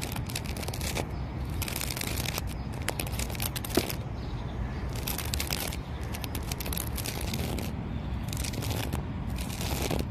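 Fingertips and short nails scratch and tap the ringed, moss-patched bark of a tall, solid, fibrous living palm tree trunk. Bursts of dry, crinkly scratching come and go with bright high edges and a few sharper taps, over a steady low rumble that fills the quieter gaps.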